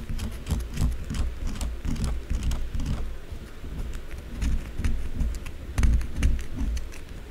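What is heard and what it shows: Long blue acrylic nails scratch and tap quickly at the side of a solid white bar of soap standing on its edge. The result is a dense, fast run of dull, low thumps and rubbing scrapes with brief bright clicks, with no ringing between strokes.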